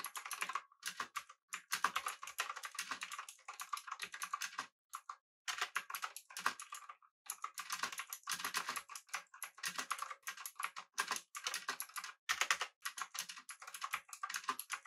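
Fingertips of both hands type rapidly on a full-size, backlit, typewriter-style mechanical keyboard with blue switches, an aluminum body and round plastic keycaps. Dense bursts of crisp, bright, clicky keystrokes run in quick flurries, broken by brief pauses. The clicks are short, with almost no low end.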